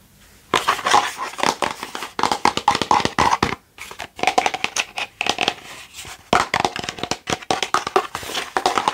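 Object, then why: Hand-sized hollow plastic skull. A hand-sized hollow plastic Halloween skull decoration, held in both hands, is tapped and scratched with long nails and fingertips. Rapid bursts of bright, clicky taps and scratchy crackling carry a hollow plastic tone around 820 Hz. The sounds stop quickly after each tap, with brief pauses between runs.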